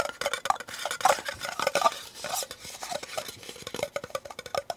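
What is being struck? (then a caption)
Disposable plastic cup. Painted fingernails tap and scratch the ribbed sides and base of a small, empty, hollow disposable white plastic cup held upright in both hands. The result is a rapid, irregular run of light, dry clicks and scrapes with a hollow plastic tone around 1.2 kHz and bright scratchy edges. Each tap dies away almost instantly.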